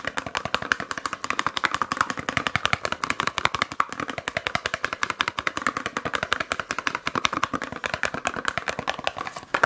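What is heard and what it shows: A small Yardley bar soap carton, a paperboard box with a soap bar inside, is held in one hand and tapped fast with long acrylic nails. About 88 crisp, dry clicks come in a rapid, steady stream over nearly ten seconds, centred around 1.4 kHz with a bright edge and almost no low end. Each tap dies away almost at once.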